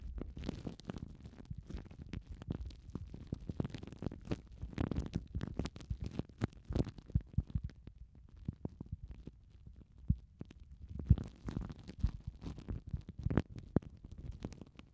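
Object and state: Plastic cling film crinkled over foam mic windshields.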